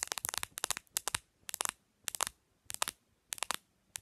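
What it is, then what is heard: Smartphone plastic back cover. Long nails tap fast on the textured plastic back cover, near the camera, of a black Samsung smartphone lying face-down on a white surface. The taps are sharp, dry, bright clicks that land in rapid bursts separated by short pauses, with almost no low end and no ring after each tap.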